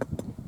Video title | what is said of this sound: LCRR How to Inspect a Water Meter Box for Lead EPA Copper Rules | based on the sound and the ping, you can tell if it's steel or brass or some other material